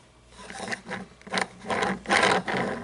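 Long painted nails tap and scratch the wheels and chassis of a small toy monster truck with plastic and chrome parts, standing on a table. Short bursts of dry, raspy scratching and light clicking rise and fall, bright and centered in the mids with little low end. Each burst stops quickly with almost no ring.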